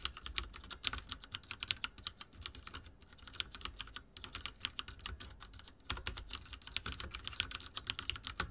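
Fingertips type rapidly on a backlit mechanical keyboard with dark plastic keycaps and a silver frame. A dense stream of bright, sharp clicks and clacks comes with very short decay and slight lulls near the middle. The keystrokes continue steadily to the end.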